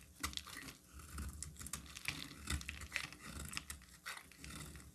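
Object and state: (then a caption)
Bar soap being shaved. A solid pink oval bar of soap, held in the hand, is shaved with a metal utility knife blade, peeling off long pink flakes that fall away. The sound is a quiet, dense stream of crisp scraping and crackling ticks with bright, short-lived transients over a soft low rumble.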